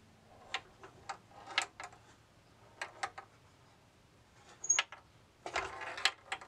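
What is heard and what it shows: A bamboo labyrinth maze toy is tilted by hand, so its small steel ball rolls and repeatedly taps the wooden walls. About a dozen sharp, bright, dry clicks come in irregular bursts, with a faint rolling rustle between them. The clicks die away almost instantly.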